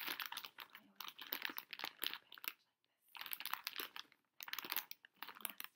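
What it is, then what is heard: Plastic foil snack bag. A pink Pocky plastic foil pouch, full of packs, is held in both hands while long nails tap and scratch its front and the fingers crinkle it. Dense, bright crinkling and crackling comes in three bursts, separated by short silences.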